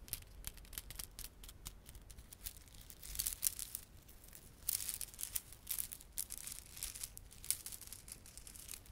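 A small clump of plastic garland, with solid glossy dark blue and silver plastic beads and red spiky plastic fringe, is held in both palms while fingertips rub and squeeze it. This makes soft, dense clicking and crinkling with bright, high bursts that swell and fade over a quiet low background.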